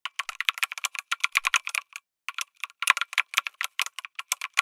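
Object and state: Mechanical keyboard being typed on.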